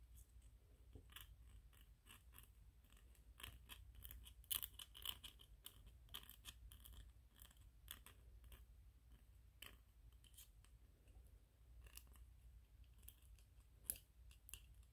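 Fingernails scratch and rub the ridged surface of a small white, solid PLA plastic 3D-printed ghost figurine. Quiet, bright, crisp scraping ticks come in rapid bursts, with a few sharper clicks, over a steady low hum.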